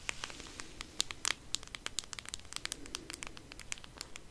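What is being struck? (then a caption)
Cardboard eyeshadow palette box. Long nails scratch and tap on a flat cardboard eyeshadow palette with a white marble print, held up close. Quiet, dry, crackly clicks and scratches come in an irregular, fast patter, bright and crisp with almost no ring.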